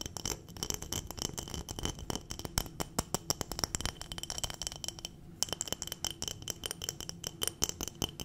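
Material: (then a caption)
Glass. A clear glass jar full of dried berries is tapped and scratched rapidly with long nails, giving a dense run of bright, sharp clicks and scrapes. The berries inside rattle against the glass with each contact.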